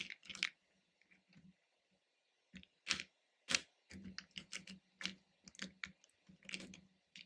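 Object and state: Hard-shelled candies stirred in a plastic bowl.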